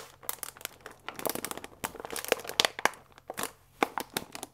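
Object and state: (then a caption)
Paper pasta bag with plastic window. A full paper fusilli bag with a plastic window is held upright and squeezed and crinkled with the fingertips. Rapid, dry, bright crinkles and crackles come in uneven bursts with brief pauses, each snapping off instantly, over a faint steady low hum.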